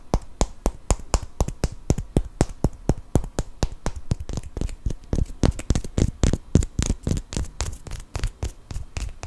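Fingernails scratch and tap the surface of a small solid cork wine stopper held close to the mic. Dry, quick taps come in a loose, uneven rhythm, each with a deep thud and a bright click that dies away almost at once.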